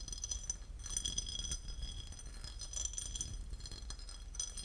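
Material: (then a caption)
Porcelain. A porcelain lid is tapped and scratched, giving a quick run of light, bright ceramic clinks with short, high ringing over a steady low rumble.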